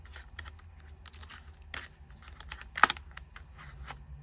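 A white, unlit, full-size plastic computer keyboard is pressed and tapped by fingertips and long nails. Quick, bright key clicks and taps come in uneven bursts over a low steady hum, with one sharper, louder click near the end.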